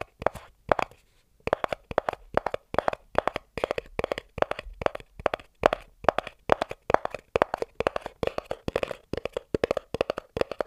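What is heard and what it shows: A small, hollow white cardboard inner box is tapped and scratched on its top and edges with the fingertips and a thumbnail. Dozens of dry, short, mid-pitched taps come in quick clusters with almost no ring, broken by a brief pause near the one-second mark.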